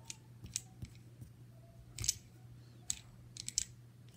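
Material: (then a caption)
Brass. A small solid brass caster wheel on a metal mounting plate from an upright piano is held close up while fingertips and nails roll, spin and tap it. Eight short, bright metallic clicks and taps stand out over a steady low hum, with faint rolling scrapes between them. Each tap dies away almost instantly.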